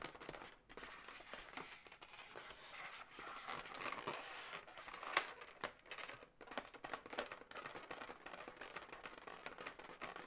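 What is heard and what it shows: Long nails scratch and tap the body segment of an inflated blue latex balloon dog, a hollow, air-filled balloon animal. Dense, crinkly, squeaky scratching fills the clip with bright mid-to-high rubbery texture and little low end, broken by short taps and one sharper squeak near the middle.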